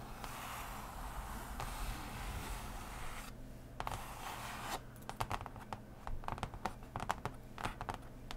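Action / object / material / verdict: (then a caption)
scrape / cardboard game board / cardboard / none. Fingertips and nails scratch and tap on the surface of a large, solid, unfolded printed cardboard game board lying flat. A steady, soft rubbing scrape fills the first few seconds before dropping away. Then a run of quick, dry, close taps follows, with a faint low hum underneath throughout.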